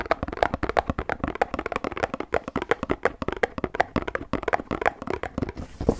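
A hand-sized, hollow Pilkul paperboard drink carton, held in both hands, is tapped and knocked rapidly with fingertips, knuckles and a loose fist. The result is a fast, uneven stream of short, dry, hollow knocks with a papery midrange tone around 680 Hz and almost no ring after each hit.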